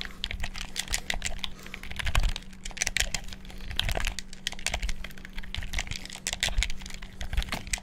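A black, hollow plastic gamepad held over the mic is clicked rapidly with fingertips, producing a dense, irregular stream of sharp plastic button clicks with hollow, thumpy low bodies. A faint steady low hum runs underneath.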